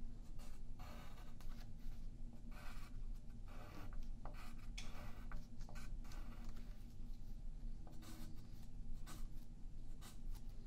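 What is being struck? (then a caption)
Graphite pencil on a paper sheet over a wooden table. A yellow wooden graphite pencil scratches drawing lines across a thin sheet of white paper held flat by the left hand on a wooden table. Repeated short, bright scratching strokes rise and fall over a steady low hum throughout.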